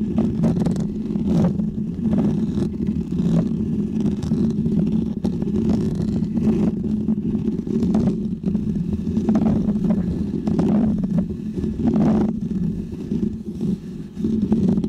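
Fingernails of both hands scratch a small, round, white, textured foam windscreen on a microphone. The result is a dense, continuous rumbling scrape with a strong low hum-like body near 220 Hz, dotted with brief, brighter scratchy flicks, all at a steady loud level throughout.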